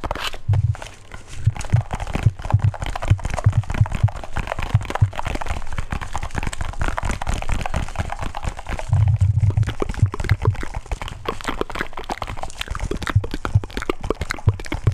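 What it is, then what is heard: Small metal tin tapped and scratched. A small, round, hollow metal tin or grinder, silver with a blue band and a red top, is held in both hands and tapped and scratched with fingertips and nails. The result is a dense, steady run of quick, dull taps with a low, hollow thump around 100 Hz, mixed with a faint scratching texture. Each tap dies away almost instantly.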